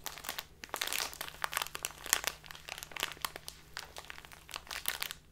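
A small plastic bag full of loose tea is held upright and squeezed and crinkled with fingers and nails. Dense, bright crinkling and crackling comes in quick irregular bursts throughout, with a faint steady low hum underneath.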